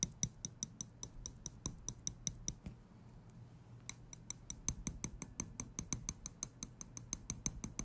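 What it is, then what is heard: Metal tweezers. Small steel tweezers are held close to the mic, their tips clicked together and tapped with fingers. About 36 sharp, bright metallic ticks come in a quick, steady run, with a pause of about a second near the three-second mark. Each click is dry, with almost no ring.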